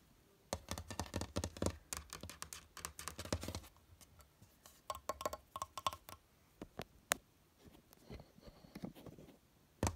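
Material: Wood laminate.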